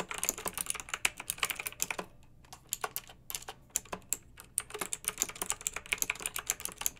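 Long-nailed fingertips type continuously on a pink backlit, typewriter-style plastic mechanical keyboard with round metal-rimmed keycaps. Bright, sharp clicky keystrokes come in quick runs, with a sparser stretch in the middle before the fast typing resumes. Each click dies away almost instantly.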